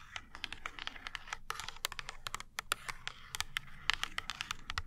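Long nails tap and scratch the printed thin cardboard back of a small ointment blister pack held in the hand. A quick run of dry, sharp clicks and bright scratchy rasps follows, each dying instantly, with a faint low rumble underneath.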